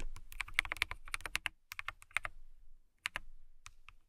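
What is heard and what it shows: Long nails type on a transparent acrylic mechanical keyboard with clear keycaps. Quick, bright clicks and clacks arrive in uneven bursts with short pauses between them. Each keystroke is sharp and dies away almost at once over a faint low rumble.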